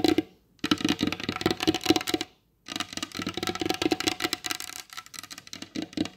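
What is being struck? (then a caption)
Varnished wooden table top tapped with fingernails. Long blue acrylic nails tap fast on the glossy varnished top of a large solid wooden table. The result is dense bursts of short, clicky taps with a hollow mid tone and bright edges, broken by two brief silences.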